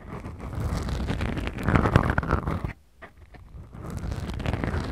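Long acrylic nails slowly scratch two small, soft, porous black foam windscreens on the mics of a Tascam recorder. A dense, low, rumbling scratch and crackle builds steadily, breaks off into near silence with a few faint ticks around the three-second mark, then resumes.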